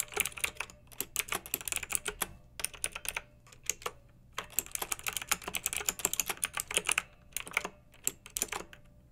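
Fingertips with long nails type on a pink backlit plastic mechanical keyboard with round typewriter-style keycaps. It makes quick, bright clicky keystrokes in bursts broken by short pauses, with almost no low end.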